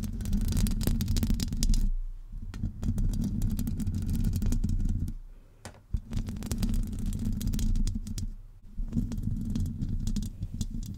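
Long acrylic nails on both hands, wrapped around a hollow metal wire-mesh microphone grille, scratch it steadily. The result is a dense, muffled, low rumbling scrape with fast crackling clicks. Brief quieter pauses come near 2, 5.5 and 8.5 seconds.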